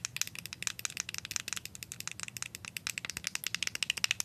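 Paper clip nails tap on the white plastic bottom dial of a plastic deodorant stick, then on its side. About 36 quick, crisp clicks rattle out in an uneven rhythm. They are bright and dry, with almost no low end and no ring after each tap.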